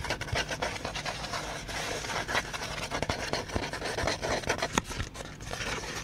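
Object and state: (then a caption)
Cardboard being scratched. Fingertips and nails rub and scratch across the surface of a flat, folded, tan cardboard cutout held close to the microphone. The result is a continuous, dry, rasping scratch with quick bright crackles and short sharp scrapes over a soft, rough rustle.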